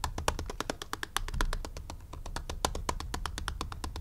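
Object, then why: Plastic graphing calculator back casing. Fingertips and short nails tap and scratch the back of a hollow black plastic graphing calculator. The result is a fast, steady stream of short, dry clicks with a hollow low thump beneath them and brief bright ticks on top, each dying away almost at once.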